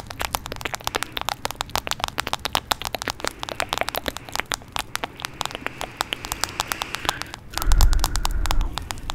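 Long nails tap and scratch the back of a smartphone in a teal plastic case held beside the mic. Dense, rapid, sharp clicks carry on with bright, crackly edges. Near the end, a louder, low, rumbling scrape swells for about a second before the tapping resumes.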